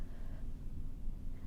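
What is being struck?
Nothing is struck.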